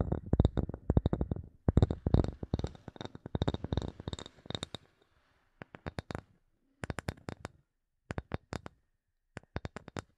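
A wooden object is tapped with fingertips in quick bursts, with short pauses between the groups. Each tap is short and dry, with a dull low thump and almost no ring.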